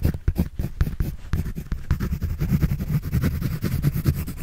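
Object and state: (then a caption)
Pencil drawing on a paper sketch pad. A pencil scratches and draws across a white paper sketch pad held by hand. It makes a steady run of quick, dry, scratchy strokes with a muffled, low-heavy tone and almost no ring between them.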